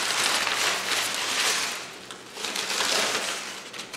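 Both hands press, scrunch and rub large, thin, flexible sheets of crumpled brown kraft paper on a wooden table with their fingertips. The result is a dense, bright, continuous crinkling and rustling with almost no low end. It eases briefly midway, then swells back up before tapering off.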